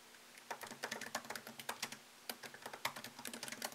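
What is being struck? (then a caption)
Laptop keyboard with plastic keys in an aluminium body. Fingertips type on a MacBook Pro laptop keyboard with plastic keycaps set in an aluminium body. They make a quick, irregular run of light, bright clicks and taps that die away almost at once, with a brief pause midway before the typing resumes.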